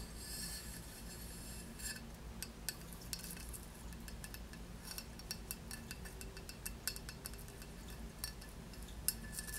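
Long nails scratch and tap across the glossy raised relief of a solid, square glazed ceramic tile with a textured border, held in the hands. A soft, steady scratching rasp runs throughout, broken by sharp, bright little clicks that die away almost instantly, over a faint low rumble.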